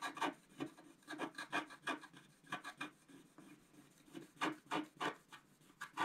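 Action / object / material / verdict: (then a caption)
scrape / coated scratch-art paper scratched with a wooden stylus / coated paper / none. A wooden stylus scratches across a flat, coated scratch-art paper card in about 18 quick, uneven strokes. Each stroke is a short, dry, raspy scrape with a bright edge. The strokes come in irregular bursts and fade almost instantly.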